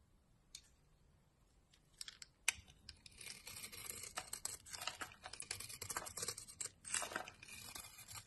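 A metal blade shaves and scrapes thin curls off a solid rectangular tan laundry soap bar stamped "72% СИЛА", held in a hand with long dark nails. A few separate crisp scrapes in the first seconds give way to a dense run of bright, dry, crunchy shaving and tearing sounds. The sound is quiet overall, with very little low end.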